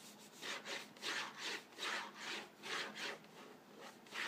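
Fingernails scratch the printed cardboard surface of a hollow Vegetable Thins crackers box filled with crackers, as the box is turned from its side nutrition panel to its French front. Repeated, uneven back-and-forth strokes make a dry, hissy rasp that rises and falls about two to three times per second.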